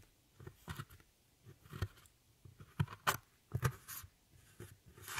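A metal tool with a rhinestone handle scrapes and crumbles a dark brown pressed powder pan in an eyeshadow palette. Several short, separate scrapes and crunches sound with soft low thuds and brief bright, crackly hiss between quiet pauses. The bursts die away quickly.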